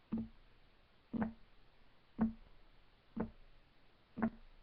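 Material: Wood.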